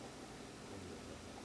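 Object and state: Nothing is struck.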